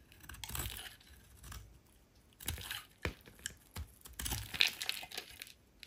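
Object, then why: Soap bar scraped with a metal blade. A solid oval pink soap bar held in the hand is scraped with a metal utility knife blade. The result is a run of bright, crisp scraping and crumbly shaving sounds in irregular bursts, with sharp clicks as the blade catches.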